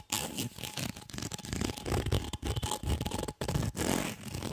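A white, ribbed, hollow corrugated plastic tube is held in both hands while fingers scratch and bend its ridged surface. The result is a dense, rapid, crackling scrape with a deep, rumbling low end and a bright, airy hiss, coming in bursts separated by brief pauses.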